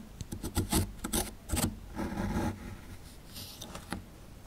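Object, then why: Plaster excavation block. A chisel tool scratches and digs into a small, solid, crumbly plaster fossil dig block held in the fingers. Short, dry, raspy scraping strokes come in quick bursts, followed by a longer grinding scrape and then softer, quieter scratches as the plaster crumbles away.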